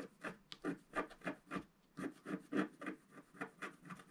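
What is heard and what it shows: A wooden stylus scratches along the bottom edge of a flat sheet of black-coated scratch-art paper held in one hand. Sixteen short, dry scratching strokes come in a quick, slightly uneven rhythm of about three per second. They are quiet, with a mid-range rasp and a little brightness on each stroke.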